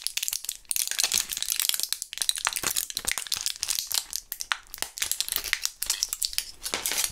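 A small clear plastic blister pack of Thrills gum with a foil backing, holding purple gum pellets, is squeezed, crinkled and rattled between gloved fingers. Dense, bright crinkling and sharp crackles run almost continuously, with quick clicks that die away instantly and almost no low end.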